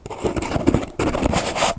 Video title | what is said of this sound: ASMR * Theme: Lid Sounds * Soft Spoken * Tapping & Scratching * Fast Tapping * ASMRVilla | You can hear the granules of baking soda, baking powder in between.